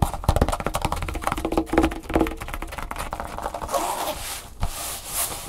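Fingertips and long nails tap and scratch across the surface of a large, flat, empty red nylon drawstring bag lying on a wooden table. A quick, dense run of soft, dull taps with low thumps gives way near the end to a brighter, hissing scratch across the fabric.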